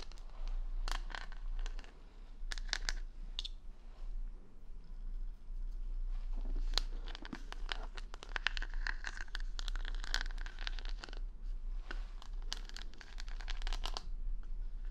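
Long fingernails scratch and tap across the plastic rhinestone stickers covering the back of a wooden paddle hair brush. The sound is a dense run of bright, crisp clicks and crinkly scrapes over a steady low hum.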